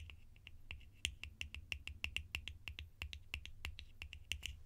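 Sharp tapping on plastic lids for ASMR gives a quick, irregular run of short, bright clicks centered high in pitch. Each tap dies away almost instantly over a steady low hum.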